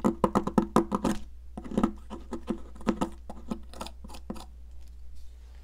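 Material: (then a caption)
Chalk. A solid yellow popsicle-shaped sidewalk chalk stick is scraped in close-up with a metal palette knife, leaving a pile of yellow powder. Quick, short, dry scrapes come in a fast irregular run, loudest at the start and thinning out toward the end, over a steady low hum and possibly faint background music.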